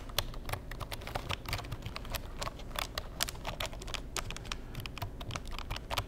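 Fingertips tap rapidly and steadily across the keys of a black plastic Insignia computer keyboard for about six seconds. Each keystroke gives a short, bright plastic click that dies away almost at once, over a soft, low background rumble.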